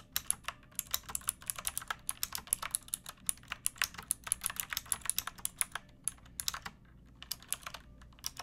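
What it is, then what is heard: Plastic mechanical keyboard. Long nails and fingertips type steadily on a backlit pink mechanical keyboard with round plastic keycaps and a hollow plastic case. The result is a quick, uneven run of bright, dry plastic clicks and clacks that stop sharply with no ring, over a faint low background hum.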